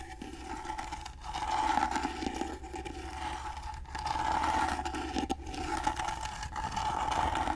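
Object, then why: Carved wooden box. Fingernails scratch the carved sides of a gold-painted carved wooden box held at an angle. The result is a dense, scratchy rasp with a steady tone near 860 Hz over a low hum, swelling and fading in long strokes with brief breaks between them.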